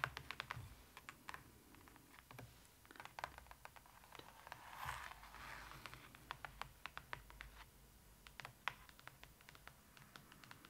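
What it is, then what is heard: Glossy cardboard book page. Long acrylic nails tap and scratch across the printed surface of an open Trolls pop-up book, its thick glossy cardboard pages lying flat. Dozens of sharp, dry, bright clicks come with almost no ring, scattered unevenly across the clip. Around the middle, a longer raspy scraping swell rises before the quick taps resume.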